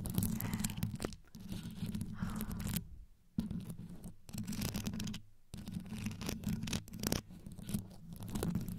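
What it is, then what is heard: Rhinestone-covered microphone grille being scratched. Long yellow nails scratch fast all over the metal mesh grille of a black condenser microphone, which is covered in small multicolored rhinestones. The result is a dense, rapid scratching heavy in low, boomy rumble with bright crackles on top, broken by two brief silent pauses.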